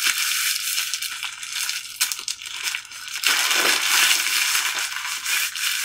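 Thin pink-printed plastic hand mask gloves, worn on both hands and apparently filled with essence, are rubbed and squeezed together. The plastic crinkles and crackles in a continuous bright rustle with sharp transients, swelling louder and denser in the second half.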